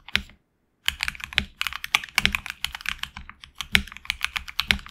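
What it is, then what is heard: Mechanical keyboard typing. Fingertips of both hands type on a tenkeyless HyperX Alloy Origins Core mechanical keyboard with HX Red switches, red and grey PBT plastic keycaps, an aluminum plate and a hollow case, resting on a dragon-print desk mat. After one keystroke and a brief silence, a steady run of bright, crisp clacks follows, each dying away almost instantly with little low-end thump.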